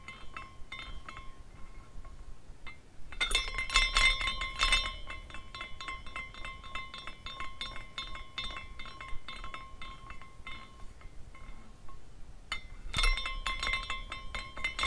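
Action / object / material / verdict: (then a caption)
strike / small glass carousel figurine / glass / none. A small glass carousel figurine spins, its swinging glass horses striking the glass posts in a steady stream of bright clinks and tinkles with a ringing tone near 2 kHz. Louder bursts of clinking come around 3 to 5 seconds and again near 13 seconds.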